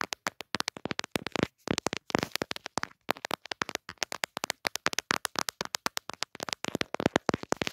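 Long dark nails tap rapidly on the glass camera lenses of a pink plastic-cased smartphone with a pop socket, held in one hand. The clip is a dense run of short, dry, bright clicks with almost no ring, coming in quick bursts with brief pauses between them.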